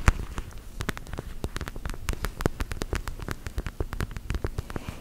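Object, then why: Plastic eye mask filled with gel beads. A squishy plastic eye mask filled with purple gel beads (orbeez) is tapped and squeezed with long gel nails. The result is a quick, irregular run of short, soft clicks and squishy taps with a dull, low-heavy tone and almost no ring.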